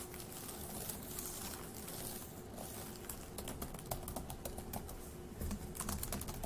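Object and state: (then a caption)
Plastic laptop keyboard. Fingertips of one hand tap the plastic keys of a dark grey laptop keyboard, making soft, irregular clicks over a low, steady background hiss. The taps come in quick, uneven bursts, growing a little livelier and brighter toward the end, and each click dies away almost at once.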